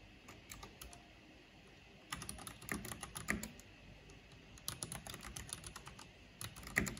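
Long painted fingernails and fingertips tap fast on a full-size black plastic mechanical computer keyboard with a purple backlight and hollow housing. Quick, bright clicky keystrokes come in irregular bursts, with quiet gaps and denser flurries of sharp taps.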